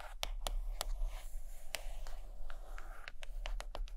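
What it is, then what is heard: Hardcover book. Long acrylic nails tap and scratch the cover of a large, solid purple hardcover book lying closed on a carpet. Crisp, bright clicks stand out over a steady low hum and a soft scratchy rustle. The taps come at an irregular pace with short, dry decays.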